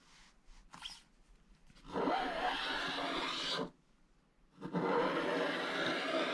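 A wooden stylus scrapes the black coating off a thin, flat scratch-art page in an open book held in the other hand, leaving crumbly black flakes. After a few faint, brief scratches, two long, steady strokes produce a dry, bright rasping hiss, separated by a short silence.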